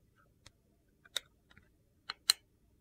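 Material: Soap.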